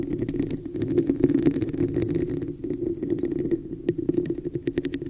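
Long nails on both hands tap and scratch the sides of a hollow red textured plastic cup placed over the microphone. A dense, rapid run of short clicky taps and scratchy strokes rides on a hollow, boxy resonance around 270 Hz. Sharper taps flash bright, with a brief dip in loudness midway before the tapping picks up again.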